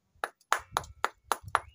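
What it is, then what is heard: Bell-like ringing rock. A ringing bell stone, a granite-like rock outcrop in the Caatinga at São José do Seridó, Brazil, is struck six times. Each strike gives a clear, bell-like metallic ping near 1.1 kHz that dies away quickly.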